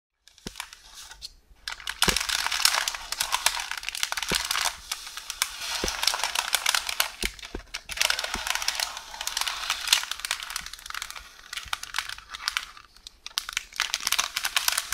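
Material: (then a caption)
Paper. A hollow rolled tube of beige parchment baking paper lies on a counter with its loose end partly unrolled, while one hand with long orange nails scratches, rubs and presses it. Dense, bright crinkling and rustling fill the clip, broken by sharp little crackles and a few brief pauses.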